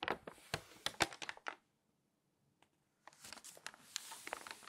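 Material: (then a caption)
Glossy paper. Fingertips and long nails rub, scratch and turn the pages of an open glossy paper magazine spread flat. Bright, crinkly rustles and sharp scratching bursts come quickly, stop for a short near-silent pause broken by one faint tick, then resume as softer, continuous scraping and crinkling.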